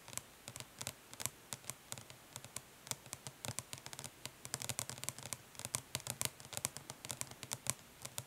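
Long nails tap quickly on the lid of a flat, hollow plastic eyeshadow palette resting on cloth, with light scratches mixed in. The sound is a rapid, irregular string of short, bright, dry clicks with almost no ring, set against a quiet background.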